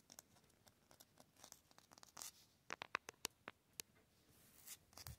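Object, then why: Concrete cinder block wall. Fingernails scratch quickly along an outdoor concrete cinder block wall with a rough, porous grey surface, running over the blocks and their mortar joints. Quiet, dry, bright scrapes and sharp ticks come in rapid, irregular bursts with no ring after each one.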